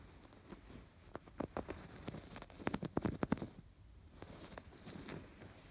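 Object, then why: Embroidered canvas fabric pillow. Fingertips and nails scratch along the raised yarn embroidery in curved lines on a cream woven fabric canvas pillow. Quiet, dry, irregular scratches and soft taps cluster most densely in the middle, with little ring after each stroke, then taper off into softer rubbing.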